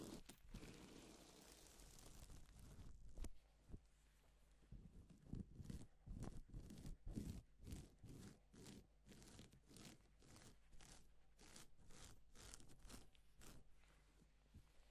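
Gloved hands rub and sweep across a flat, reversible pink and silver plastic sequin fabric sheet. They make crisp, crinkly swishes and scratchy rustles that repeat irregularly, about twice a second, over a steady low hum. A longer rustling stretch at the start gives way to shorter, separate sweeps.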